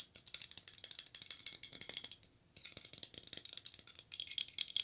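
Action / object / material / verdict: tap / small glazed ceramic figurine / glazed ceramic / none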